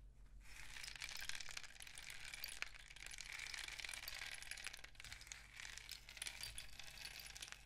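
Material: Cardboard.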